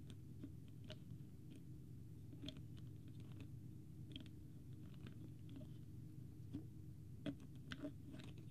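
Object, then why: Plastic screw cap on a water bottle. Fingertips tap and click on the white plastic screw cap of a small, partly full, clear plastic water bottle with a green label, held close to the microphone. Soft, short, bright ticks and clicks come at an irregular pace over a steady low hum, with a few slightly sharper taps near the end.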